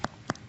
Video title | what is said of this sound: Debbie Meyer UltraLite GreenBoxes 28piece Starter Set | hear that sound that's the sound of a very fresh pepper it's Hollow and thick